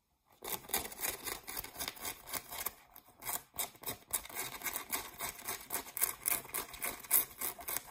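Fingernails scratch the brown back label patch and the denim around the back pockets of a pair of blue jeans. Quick, rough scratching strokes repeat at an uneven rhythm, with bright, hissy texture and little low end, pausing briefly about halfway through before resuming.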